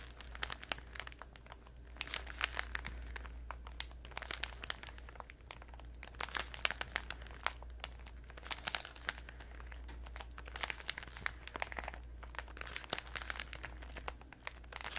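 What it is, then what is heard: Plastic-wrapped cardboard gum box. A small Orbit chewing gum box, cardboard in a crinkly plastic wrapper, is held in both hands close to a microphone while long red acrylic nails tap and crinkle the wrapper. Dense, bright crackling runs throughout, with sharp, quick nail clicks scattered over a steady low hum.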